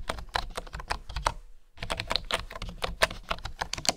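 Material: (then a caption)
Bamboo. Fingertips and nails type and tap on the keys of a bamboo wooden keyboard, making a fast run of short, crisp clicks with a bright edge and a soft low thump under each stroke. The typing pauses briefly near the middle, then resumes at the same brisk pace, each click dying away almost instantly.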